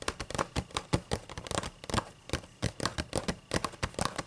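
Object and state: Paper book pages.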